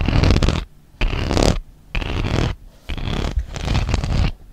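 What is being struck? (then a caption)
Plastic tablet case with textured inner surface. Long nails scratch and tap across the textured honeycomb plastic inside an open plastic tablet case. It produces bursts of dense, gritty scratching with a heavy low rumble, separated by brief quiet gaps.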